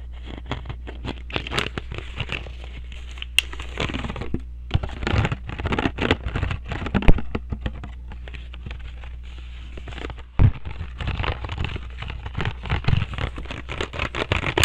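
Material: Plastic.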